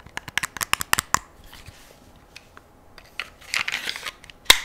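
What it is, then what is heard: Metal pistol tapped with fingernails. Long nails and fingertips tap and scratch along the slide and frame of a solid, hand-sized black metal semi-automatic pistol held close to the microphone. A quick run of sharp, bright clicking taps gives way to quieter, faint scraping, then a burst of rustly scratching and one last crisp tap.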